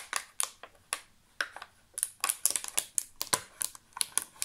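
An empty, clear thermoformed plastic chocolate insert tray with many cavities is held in both hands and tapped with fingertips and nails. The result is an irregular run of about eighteen sharp, bright, hollow plastic clicks that stop almost instantly, with almost no low end.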